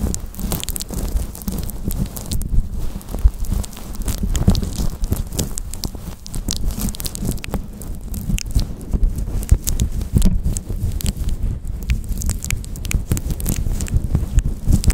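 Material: Synthetic fur.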